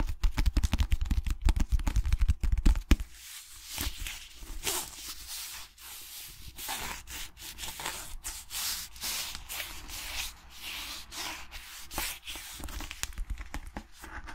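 A cream cloth-covered hardcover book has its cover rubbed and scratched with fingertips and nails, making a dry, sanding-like scrape. The first three seconds carry heavy low thumps under dense, irregular scratching. After that a quieter, steady brushing and scraping continues with frequent bright bursts.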